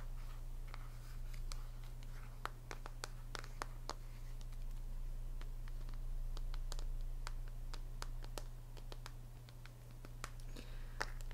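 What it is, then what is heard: Plastic phone case. Long red-painted nails tap and scratch the back of a smartphone in a hard plastic case with a green and white tribal print, held up in both hands. Quick, fairly regular sharp clicks and brief scratchy strokes ring out bright over a steady low hum.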